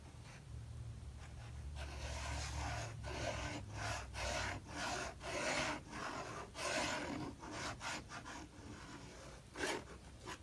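A metal palette knife spreads and scrapes thick wet acrylic paint across the right-hand page of an open paper sketchbook lying flat on a wooden table. Repeated rasping, rubbing scrapes rise and fall in broad bursts over a low hum. The wet paint layer may soften the paper sound.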